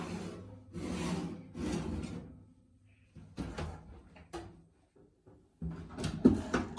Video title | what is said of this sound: How to make sourdough | está fazendo esse som oco significa que está bem assados